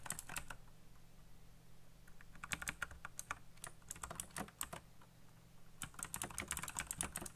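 Fingertips type fast across a full-size black plastic mechanical keyboard with RGB backlit keycaps and hollow key switches. Rapid, bright, clicky key presses come in bursts over a low steady hum, with a brief pause before the typing resumes.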